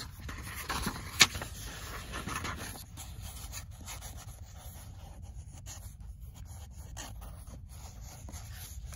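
Long nails touch the cover of a paperback book with a sharp tap, then the book is opened and the nails lightly scratch across its printed paper pages. A soft, bright, dry scratching rustle continues at a low level with few distinct onsets.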